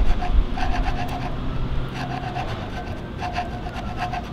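A gloved hand pushes a steel chisel along a large, solid, partly debarked log resting on sawhorses, scraping the bark off. Repeated rough, rasping scrapes come in bursts, with a faint squeaky tone over a heavy, low rumble.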